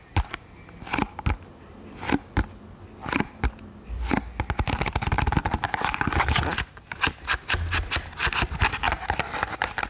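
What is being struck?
Small cardboard box.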